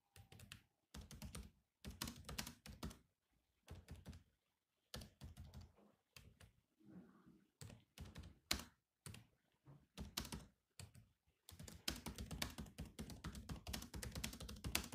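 Both hands type with their fingertips on a grey laptop's black plastic keys, producing short runs of clicky keystrokes separated by brief pauses. From about 11.5 seconds the typing becomes continuous until the end. Each keystroke is a dry, quick tap with a low thunk and a bright click on top.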